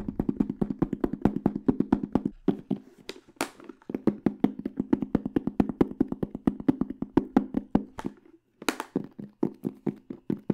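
Fingertips and nails tap quickly across the black textured flat panel of a small, hollow hard case with a silver aluminum frame, held beside the mic. The fast, dry taps give a hollow, low-mid knock around 270 Hz that dies almost instantly, with a few brighter, sharper clicks. The rhythm runs steadily, with brief pauses near 2.5, 3.8 and 8.3 seconds.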